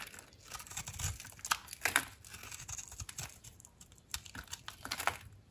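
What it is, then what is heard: Dry soap bar being shaved. A utility knife blade shaves thick, crunchy curls off a dry, solid blue soap bar with a white powdery, crusted outer layer, held in the hand. Dense, crisp crackling and scraping crunches sound bright and dry, with sharper snaps standing out among the continuous shaving.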